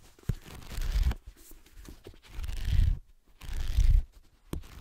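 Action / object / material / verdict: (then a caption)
scrape / paperback book, paper and card cover / paper / none. Fingertips and nails scratch along the page block edges and cover of a black paperback book. The result is three dry, rasping swells of scratching, each lasting under a second and heavy in low rumble, with a couple of brief sharp scrapes in between.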